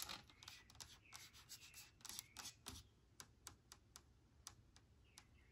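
Long nails tap quickly across the label and plastic body of a large blue plastic spray cleaner bottle with liquid inside. The sound is a quiet, uneven run of bright, crisp clicks with short scratchy rubs between them early on, then more spaced-out single taps that stop almost instantly.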